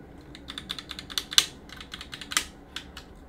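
A gloved hand works a cotton swab between the plastic keycaps of a backlit Roccat mechanical keyboard on a metal plate, scratching and clicking the switches. Quiet, bright, irregular clicks and short scratches are heard, each dying away almost instantly, with a few sharper snaps standing out.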